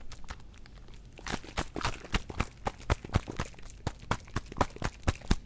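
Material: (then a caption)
Plastic. A small plastic Listerine bottle of blue mouthwash is gripped by the fingertips and shaken close to the microphone, sloshing the liquid. Faint ticks give way to irregular, bright, splashy bursts about twice a second over a heavy low thump. Each burst stops sharply with almost no ring.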